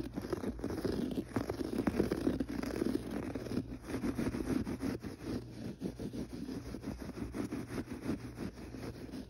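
Fingertips scratch across a gray textured pile carpet on the floor, producing a continuous, dull scratching and rustling that swells and fades in quick strokes. The sound sits mostly in the low-mids with little brightness, over a faint steady low hum.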